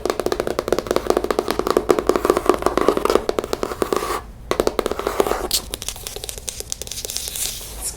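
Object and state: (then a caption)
Cardboard book cover. A hardback book with a cardboard cover is tapped rapidly and continuously, producing dry, hollow cardboard-like clicks with a midrange tone. The tapping briefly pauses just past the halfway point, then resumes.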